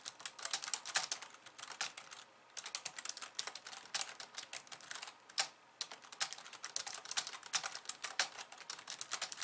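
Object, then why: Plastic computer keyboard keys. Long painted nails on both hands type fast on a pink, low-profile plastic computer keyboard with white keys resting on a wooden desk. The result is a dense stream of bright, sharp, high clicks with almost no low end, broken by two brief pauses.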